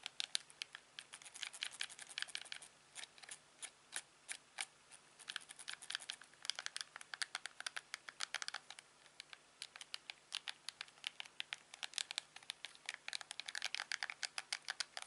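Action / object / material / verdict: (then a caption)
tap / plastic TV remote control / plastic / none. A thumb clicks the buttons and the wheel of a hand-sized, hollow, black plastic LG TV remote control. It makes a steady stream of many sharp, dry clicks that stop instantly and have no ring. The sound is quiet and bright, with almost no low end.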